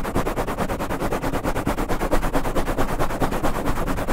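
Fingertips of both hands scratch and rub rapidly and aggressively on a soft, porous black foam windscreen covering the head of a standing condenser microphone. The result is a dense, muffled, low-heavy scratching roar that pulses in quick, fairly steady strokes throughout.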